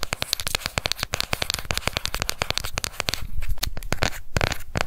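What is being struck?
Plastic cosmetic compact.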